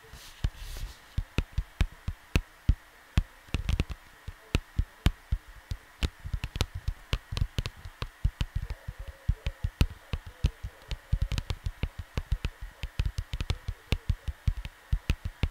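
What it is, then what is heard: Cardboard record sleeve. Fingertips of both hands tap on a large, flat, printed cardboard LP record cover lying on a desk, right next to the microphone. The result is a long, uneven series of soft, thuddy taps that are deep and low in tone. Each tap dies away almost instantly, leaving a faint steady hum in the quiet gaps.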